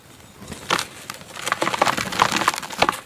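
Bare fingertips and palms squeeze and crumble a handful of dry, crumbly red dirt chunks held over a dark bowl, releasing clouds of dust. Quiet at first, it builds into a dense run of short, dry, crackling crunches and snaps, bright and gritty with little low end, each dying away almost instantly.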